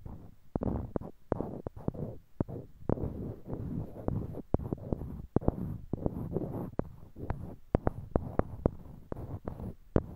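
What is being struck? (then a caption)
Small wooden blocks. Small, solid, light-colored wooden cubes, held in pairs in each hand close to a binaural microphone, are clicked and knocked against one another by the fingertips. Many sharp, dry clicks with no ring sound over a soft, low, rumbling rub of the blocks shifting in the hands.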